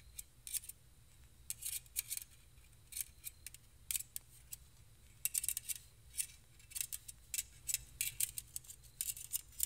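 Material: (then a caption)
Stainless steel. Two stainless steel wire whisks are held in both hands, their wire loops rubbed and tapped together and scratched with fingertips. The result is a quiet, irregular series of short, bright metallic clicks and scrapes with almost no ring, over a faint low hum.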